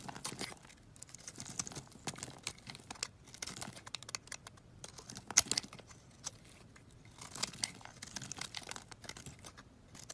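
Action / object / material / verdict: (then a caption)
scrape / soap bar / soap / none. A box-cutter blade carves and shaves a solid coral-red bar of soap held in the palm, scattering flakes. Quiet, bright, crisp scraping and crinkling strokes come in irregular bursts with brief pauses, each cut dry and short with almost no ring.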